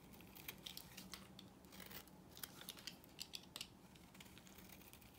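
A knife blade carves a solid pale yellow rectangular bar of dry soap, shaving off crisp flaking curls. Sharp, bright scraping clicks and crackles come in quick bursts over a low steady hum, with a few louder snaps near the middle.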